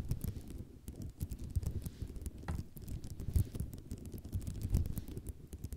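Long nails tap and scratch across the rows of small tiles on a white ceramic mosaic tile sheet, making a dense, quiet run of short clicks and rasping scrapes. The sound is mostly low and thuddy, with brief bright ticks on the sharper taps and almost no ring after each one.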